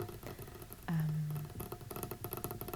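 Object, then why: Wooden folding table. A folding wooden tray table is tapped in a quick burst of light, woody knocks. Near one second, a stronger hit leaves a low tone around 156 Hz ringing for about half a second, then the rapid tapping resumes.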